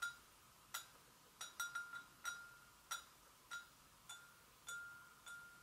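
Long acrylic nail tips gently tap the sides of an empty, medium-sized, hollow white porcelain gravy boat. There are 11 light, irregular taps, each giving a short clear ring around 1.4 kHz with bright overtones that fade quickly into a quiet background.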